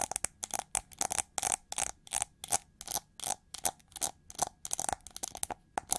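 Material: Plastic.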